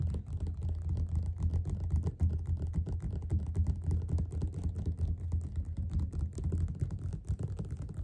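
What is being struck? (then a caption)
Paperback book with glossy card cover. Both hands tap fast with their fingerpads on the cover of a closed, solid yellow glossy paperback copy of Othello lying flat on a table. The result is a dense, uneven patter of soft, dull, low thuds with almost no brightness and very short decay, continuing steadily throughout.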